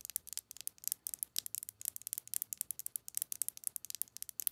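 Long acrylic nails tap and scratch along the barrel of a slim white plastic Colourpop Lippie Stix lipstick crayon with a gold cap and hollow tube. About thirty quiet, crisp, dry clicks and scrapes come in quick, uneven bursts, almost entirely high-pitched with no low end.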